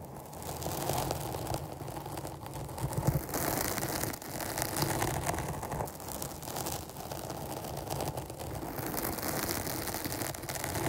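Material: Foam.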